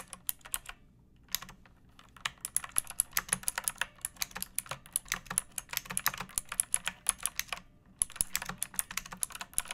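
Fingertips and long painted nails type on a pink plastic mechanical keyboard with round backlit keycaps and a hollow body, resting on a wooden surface. Bright, crisp clicks come in quick runs with very short decay, broken by brief pauses near the first and eighth seconds.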